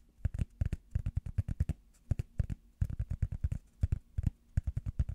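Fingertips and nails tap a small, round, solid, soft blue rubber foam pad held up in the hands. Quick bursts of dull, low, muffled taps come in clusters separated by short pauses, each tap dying away almost instantly.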